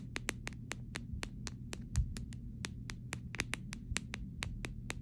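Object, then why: Clear plastic phone case. The back and rails of a clear plastic phone case are tapped and scratched with pink nails. Quick, sharp, bright clicks come in a steady run, each dying away almost at once, over a constant low hum.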